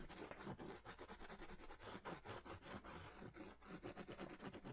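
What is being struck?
Crayon rubbed on a paper drawing pad.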